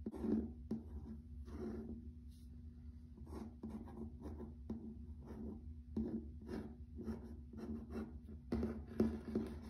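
A fingernail scratches along the grain of a grey wood-grain plank, wood-look laminate floor in a series of short strokes. Each stroke gives a soft, dry, bright scratching burst over a steady low hum, and the strokes stay quiet and close.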